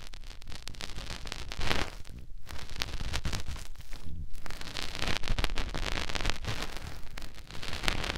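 A fingertip rubs inside the ear canal of a white silicone ear mounted on a round binaural microphone. The result is a close, continuous scratchy rubbing with dense crackles, heavy low rumble and some bright friction. Two brief quieter dips fall near 2.3 and 4.2 seconds.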